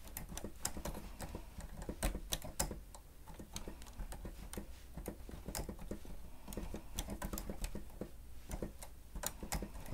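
Keys on a grey plastic stenotype machine with a screen are pressed rapidly with the fingertips and nails of both hands. The result is a quick, uneven patter of short, sharp plastic clicks and taps with bright edges, over a steady low hum.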